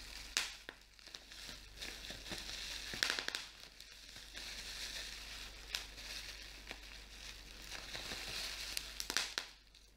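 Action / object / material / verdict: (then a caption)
scrape / plastic bubble wrap / plastic / none. Clear plastic bubble wrap is pinched between fingers, its bubbles popping in sharp, bright cracks over a steady crinkling rustle. The pops come scattered through the clip, some louder and snappier than others, with little low end beneath them.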